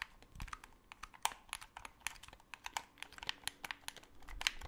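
Fingertips rapidly click the colored buttons and sticks of a black hollow plastic Xbox 360 controller close to the microphone. The result is a quick string of about 22 sharp, bright plastic clicks with almost no ring, over a faint low background.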